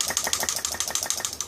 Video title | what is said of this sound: Aerospace Rivet Gun Air Hammer Fix & Repair | you can actually shake it you can hear it go back and forth